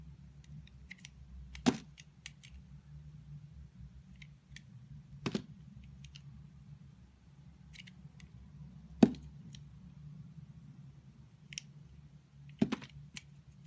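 A solid rainbow-striped soap bar, held in fingers, is cut into thin slices with a green box-cutter blade. Four sharp, crisp cuts stand out, spaced a few seconds apart, with faint bright ticks and light scraping between them over a low, steady hum.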